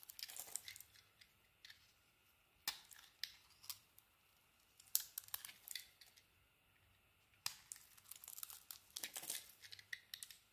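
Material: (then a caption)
Soap. A solid white soap bar with a striped coating, held in the hand, is shaved with a small metal blade, and crumbly shavings fall away. It makes quiet, bright, crisp scraping and crackling strokes in short bursts with pauses between them, with almost no low end.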